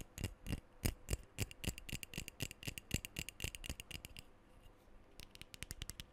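Fingertips and nails tap rapidly on the body and bottom rim of a hollow black metal aerosol deodorant can close to the mic. The taps come in a quick, uneven stream of short, dry clicks with a bright metallic tick and a low hollow thump, each dying away almost at once. They thin out to a near pause, then resume in a tight burst at the end.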